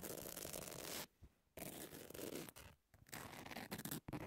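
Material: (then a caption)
Emery board. Long nail tips scratch and tap across the grit of a long, thin, flat emery nail file with a pink edge, which stays solid. Dense, rasping scratches fill the clip, broken by brief quiet pauses, with sharp taps in the later bursts and a bright gritty hiss over a low rough rumble.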